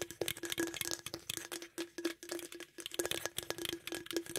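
Fingertips and nails rapidly tap and scratch the body and top of a green aluminum beverage can held close to the microphone. They make quick, irregular, hollow clicks and bright scrapes over a faint steady low ring.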